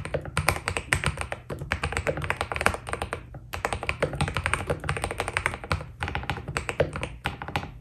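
Fingertips of both hands type fast on a white full-size Keydous NJ80 mechanical keyboard with PBT plastic keycaps on a steel plate, foam inside and a solid body, resting on a desk. A steady, dense stream of short, crisp taps carries a low thocky body under brighter clicks, with brief pauses between bursts and each keystroke dying away almost instantly.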